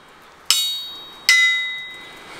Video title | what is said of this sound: My BIG Anvil - 378 Pound Wilkinson Anvil | you can hear it hear it ringing there's a fair old bounce there